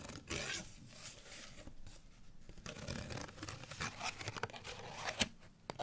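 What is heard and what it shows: A folded, printed cardstock bottle tag with a barcode and string is held in both hands and scratched with fingernails. The result is a continuous dry, papery rasping with bright, hissy texture, broken by short crisp scrapes and a sharp click near the end.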